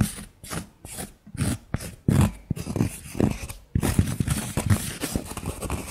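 Long nails scratch and tap the flat face and edge of a thick, round, solid cork coaster held in the hand. Soft, separate scratching strokes come first, then a denser run of quick, dull tapping and scraping. The sound is low and muffled, with almost no ring after each tap.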